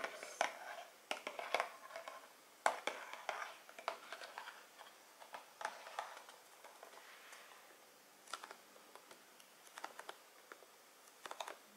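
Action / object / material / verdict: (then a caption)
tap / tall cardboard box tapped with long fingernails / cardboard / none. A tall, hollow Beyonce Rise cardboard perfume box is held up and tapped with long metallic nails. The taps come as quiet, dry, irregular clicks in small clusters, each dying away almost instantly, with a light hollow tone and no low end.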